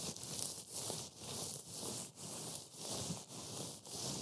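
A heap of dry, flaky green matcha wafer crumbs on a white board is rubbed and pushed by black-gloved fingers. It makes a steady, bright, crackly rustling, rising and falling in repeated strokes about twice a second with brief dips between them.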